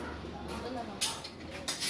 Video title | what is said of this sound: kuya undoya lechon cebu (authentic recipe from carcar cebu) | I-sound check ko lang ito. Huwag yan, tumutunog yan.